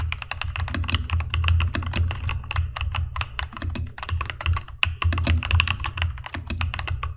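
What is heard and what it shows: Fingertips of both hands type quickly on a mechanical keyboard with cream plastic keycaps, an orange spacebar and RGB backlight, tapping keys down onto the switches. A rapid, dense stream of sharp, bright plastic clicks and clacks rides over a steady low hum, each keystroke dying away almost instantly.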